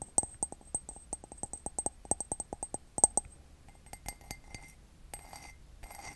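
Fingertips and nails tap the side of a hollow, empty white glazed ceramic mug with a red heart pattern, held near the mic. A quick series of sharp, bright clinks with very short ring fills the first three seconds, then gives way to softer, scattered taps and a faint, high shimmer.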